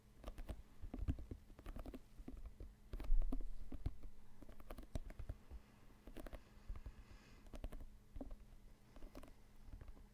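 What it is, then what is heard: Synthetic leather soccer ball. Fingertips and nails tap and scratch the panels of a full-size, inflated, hollow synthetic leather soccer ball, white with red/orange panels, held in both hands close to the microphone. Quick, irregular soft taps give dull, hollow thumps with a steady low hum beneath. Around three seconds, a louder, rougher scratching swell rises before the light patter resumes.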